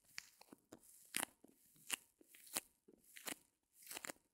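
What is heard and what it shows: Long fingernails press and scratch the top surface of a small white solid reticulated foam block gripped between fingers. They make a quiet, irregular series of dry, crunchy, tearing scratches, each burst short and bright with almost no low end, separated by brief pauses.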